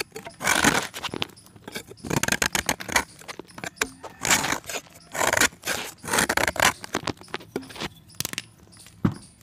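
A steel box-cutter blade scrapes a solid white pressed chalk disc in a series of dry, gritty, bright scraping strokes. Quick crackling ticks fall between the strokes as chips drop into the pan.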